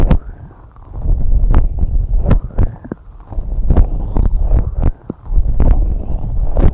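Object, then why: Silicone rubber microphone ear covers. Long red nails steadily scratch and tap both white silicone rubber microphone ear covers. A dense, muffled low rumble of rubbing is broken by short, sharp taps whose clicks reach into high, bright tones.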